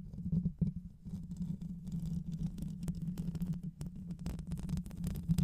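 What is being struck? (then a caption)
Metal mesh microphone grille. Both hands scratch the hollow metal mesh grille of a black microphone with long white nails, using fast fingertip and nail scratching. The result is a dense, muffled rumble with almost all its energy in the low end and a steady low hum underneath, broken by quick crackly bursts that rise and fall in loudness throughout.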